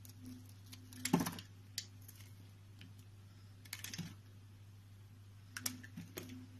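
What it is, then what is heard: Bar soap being carved. A utility knife blade slices and scrapes a solid pale green rectangular bar of soap held in the palm, producing soft, crisp scraping strokes with bright edges and a few sharper cutting clicks. The strokes come in short bursts over a steady low hum, with quiet pauses between them.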